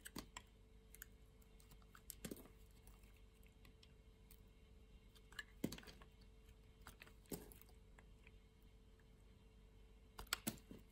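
A solid red bar of soap, held in fingers with long nails, is sliced and shaved with a metal box-cutter blade. Quiet, crisp scraping and clicking cuts come in sparse clusters, with sharper, brighter snaps near 2.3, 5.7, 7.3 and 10.3 seconds over a faint low hum.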